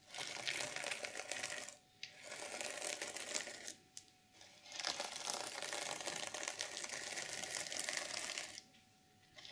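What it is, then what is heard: Sequin fabric cover being scratched. Long purple nails rake and scratch the plastic sequins of an open, reversible sequin fabric journal cover, flipping them from black to silver. A dense, bright, crinkly scratching comes in three long stretches, broken by brief quiet gaps near 2 and 4 seconds and a longer pause near the end.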